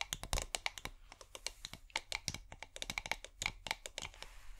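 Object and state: Small glass bottle tapped with fingernails.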